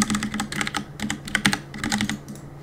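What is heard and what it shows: Fingertips tap the plastic keycaps of a black Cooler Master mechanical keyboard on a desk, typing repeatedly while gaming. Quick bright clacks come in irregular bursts over a faint steady low hum, each click short and dry.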